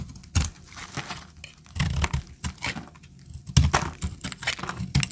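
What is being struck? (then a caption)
Bar of soap cut with a knife blade. A solid tan bar of dry soap is held in the hand while a utility knife blade scores it and chips off crunchy flakes. Sharp, dry crackling and scraping bursts come in irregular clusters with brief pauses, each carrying a low thud and a bright, gritty edge. The loudest chip lands about three and a half seconds in.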